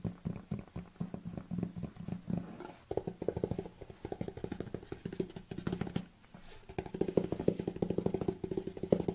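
Long nails tap rapidly on a large, hollow white plastic protein tub lying on its side, first on the body and then on the ridged lid. The taps are quick, dry and hollow, with a low-mid resonance around 200 and 400 Hz. Each one dies away almost instantly, forming a dense, steady clatter with a few brief pauses.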